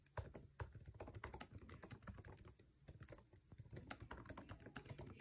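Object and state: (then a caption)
Laptop keyboard, fast typing. Fingertips tap fast on the plastic keycaps of a MacBook Air keyboard set in an aluminum chassis while typing. The result is a dense stream of short, dry clicks with soft low thumps and bright ticks, each dying away almost instantly.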